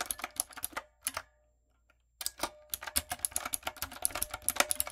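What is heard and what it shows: A typewriter-style backlit mechanical keyboard with round brown plastic keycaps on a dark frame is typed on rapidly with fingertips and long coffin nails. Bright, clacky key taps come in quick bursts, stop for about a second of near silence, then resume in a steady flurry.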